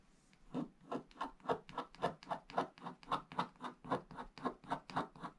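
A wooden stick scratches the black wax coating of a flat scratch-art page, over blue foil paper, near its lower right. A steady run of short, raspy scraping strokes repeats at almost two per second. The scratching is quiet and dry, centred in the midrange with little low end.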